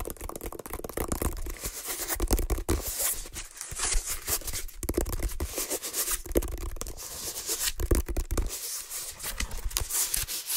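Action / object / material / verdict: scrape / woven water hyacinth basket / water hyacinth / none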